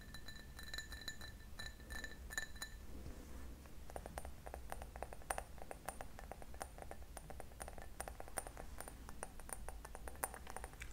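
An empty, hollow cut-crystal drinking glass with a diamond pattern, held in both hands, is tapped and scratched with fingernails. The first few seconds bring bright, ringing pings, then a brief soft scratching. After that comes a long run of quick, sharp clinking taps, all over a steady low hum.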